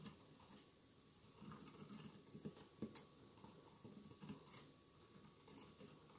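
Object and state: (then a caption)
Glass mosaic candle holder. Fingernails scratch and tap the tiles of a hollow glass mosaic votive candle holder with a lit candle inside. The sound is a quiet, continuous scratching with soft, brief clicks and taps scattered throughout. A faint steady tone runs underneath.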